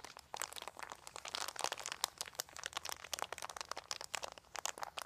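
Fingers grip, scratch and crinkle a large, thin, white crumpled plastic sheet. The result is a dense run of sharp, bright crackles and crinkles with no low end, each snap dying away almost instantly.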